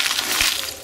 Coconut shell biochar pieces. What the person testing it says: if it sounds like glass then you know it's done really really well